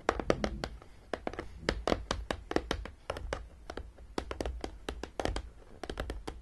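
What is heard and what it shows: Long painted nails tap rapidly and irregularly on the top edge of a closed, hollow, long flat printed cardboard box of a Battleship (Zeeslag) travel game lying on a table. Each tap is a short, dry click that dies away almost instantly, over a soft hollow low thump from the box.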